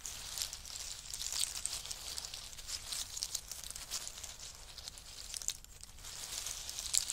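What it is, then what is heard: In-shell pistachios. Both hands press into a pile of in-shell pistachios and rake their fingertips through the shells. The result is a steady, quiet stream of bright, crisp clicking and crinkling, with a few sharper clacks standing out.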